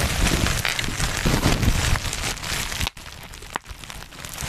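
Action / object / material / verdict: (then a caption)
scrape / plastic bubble wrap / plastic / none. Black plastic bubble wrap is held in both hands close to the microphone while fingers squeeze and pop its bubbles. Dense, crackling crinkles with sharp little pops and a deep, boomy handling rumble go on steadily. There is a brief near-silent gap about two-thirds of the way through, then quieter crackling resumes.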